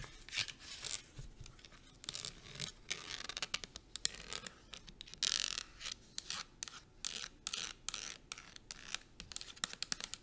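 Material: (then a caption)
Plastic. A pink plastic shampoo bottle, held sideways, is fast-tapped and scratched along its body with long acrylic nails. Rapid, crisp clicks and rough scraping sounds are bright and dry, with almost no low end. The sound comes in irregular flurries, with a louder scratching burst around the middle.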